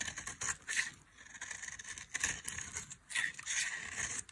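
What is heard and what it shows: A solid oval bar of dry blue soap held in the hand is cut and scraped with a metal knife, shaving flakes off it. Bursts of crisp, bright scraping and crackling come in waves, with short quiet gaps between strokes.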